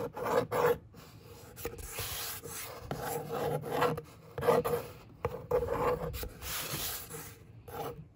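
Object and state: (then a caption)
Cardboard box surface being scratched and rubbed. A long nail traces lines across the hollow top of a brown corrugated cardboard box, then a flat hand rubs across the surface. The sound is a series of raspy scratching strokes with a slight hollow ring in the mid range, alternating with softer, steadier rubbing hiss.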